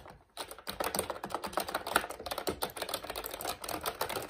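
A plastic retro mechanical keyboard with round plastic keycaps is typed on quickly with the fingertips of both hands. After a brief quiet moment, a steady stream of short, sharp clicks and clacks follows, with a mid-pitched plastic clatter and a bright edge. Each keystroke dies away almost at once.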